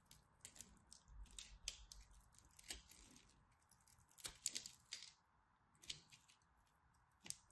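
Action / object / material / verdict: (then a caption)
scrape / soap bar scraped with a blade / soap / none. A craft blade cuts and chips the corner of a solid orange-and-white striped dry soap bar held in both hands. Quiet, bright, dry scraping and crisp chipping ticks come in short bursts with almost no ring, separated by faint hiss.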